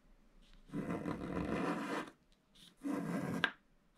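A wooden stylus scratches strokes at the lower left of a black-coated scratch-art paper page. Two broad, raspy scraping strokes are heard: a longer one of about 1.4 seconds, then a shorter one ending in a small sharp click, with faint scratches in between.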